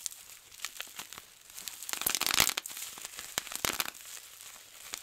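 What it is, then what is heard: Plastic bubble wrap being popped. Fingertips pinch and pop individual air-filled bubbles on a large clear plastic bubble wrap sheet. Sharp, bright snapping pops ring out over a steady crinkle of the sheet, with a denser burst of popping and crackling around the middle.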